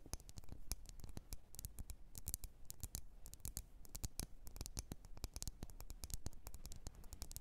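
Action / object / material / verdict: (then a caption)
tap / glass candle jar filled with wax / glass / none. Long red nails tap rapidly on the glass sides of a wax-filled red glass candle jar. The result is a quick, irregular stream of sharp, dry clicks with bright high tops that stop almost instantly, over a soft low rumble.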